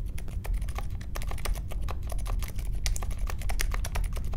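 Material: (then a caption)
Plastic. A small 60% Polaris mechanical keyboard with a grey case, white, mint and pink plastic keycaps and silent linear Alpaca switches is typed on steadily with the fingertips of both hands while it rests on a marble desk. The keys give a quick run of soft, short clicks and taps with faint bright edges over a constant low rumble.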